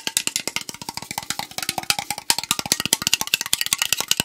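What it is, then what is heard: Aluminum drink can. Fingernails tap quickly on the side and top rim of a tall AriZona green tea aluminum can held sideways. The result is a fast, uneven stream of sharp, bright metallic clicks, each dying away almost at once, with a faint tonal ring around 900 Hz.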